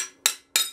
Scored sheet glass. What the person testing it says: did you hear this change in pitch